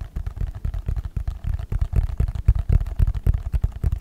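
A small, hollow, rectangular red and white cardboard smartphone box is held in one hand and tapped or scratched with the fingertips of the other, close to the microphone. The result is a quick, uneven run of deep, muffled, hollow thumps that stop almost at once, with only faint brighter scratchy texture above them.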